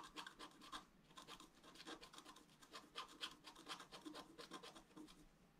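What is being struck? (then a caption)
Black-coated scratch art paper scratched with a wooden stylus. A wooden stylus scratches short horizontal strokes along the basin rim on a flat, black-coated scratch art paper card. The result is a quick, uneven run of dry, bright scraping rasps, each stroke brief and quiet with no ring.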